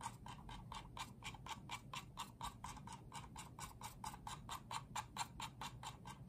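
Fingertips and nails scratch and rub across the top shell of a small, hollow pink and white Apeach plastic wireless mouse with a cartoon decal, resting on a dark desk under one hand, possibly with some button clicks mixed in. The result is a quick, fairly steady train of short, dry, scratchy ticks centered near 940 Hz with a bright, hissy edge over a low background rumble.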